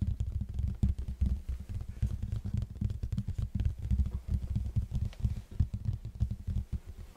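Fingertips of both hands tap and scratch the plain red face of a large, hollow cardboard box held in front of the mic. Rapid, irregular taps produce deep, booming thuds with short, dull decays, and a soft scratching texture runs underneath.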